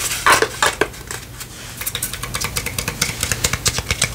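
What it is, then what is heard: Wooden lantern. A small hollow wooden palm-tree cutout lantern is held and tapped with long painted fingernails, making an irregular run of about two dozen sharp, bright clicks. The taps are louder at first, then pause and return as a quicker, steadier patter, each dying away almost at once with a dry, hollow tone.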